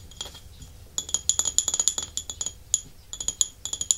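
Fingernails and fingertips tap and scratch the glazed underside and foot ring of a small, white, scalloped porcelain dish that is held upside down; the dish is solid, thin-walled and empty. After a quiet, faint scratching start, quick bright clicking taps come in irregular bursts, each with a short, high, glassy ring that dies away almost instantly.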